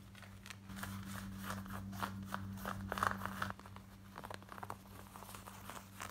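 Long nails scratch worn black denim jeans across the waistband, back pocket and front, making fast, uneven rasping and crinkly scrapes. A steady low hum sits underneath for the first few seconds, then drops away, leaving quieter scratches.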